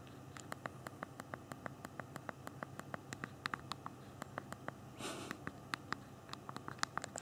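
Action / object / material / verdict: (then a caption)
tap / phone keyboard, small hard plastic keys / plastic / none. Both thumbs rapidly press the small hard plastic keys of a handheld BlackBerry phone's backlit physical QWERTY keyboard while typing, producing a quick, uneven run of sharp, bright clicks that stop instantly. About five seconds in, a brief soft rustling burst is heard, all over a faint steady low background hum.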